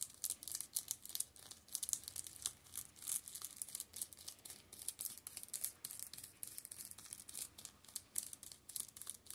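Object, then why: Plastic shrink-wrap film over paperback books. An open hand rubs and scratches the plastic shrink-wrap over the tops of the spines of a row of Steel Ball Run (JoJo's) paperback manga. It makes a quiet, continuous, bright crinkling with rapid papery scratches, almost entirely high-pitched and with no low end.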